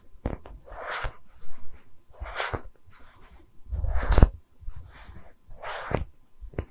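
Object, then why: Small solid wooden slab. A small, round, solid wooden tree-slice stand with growth rings is held in both hands and tapped and scratched with long red nails. Sharp, dry, low knocks that die away almost at once alternate with soft, breathy scratching swishes across the grain.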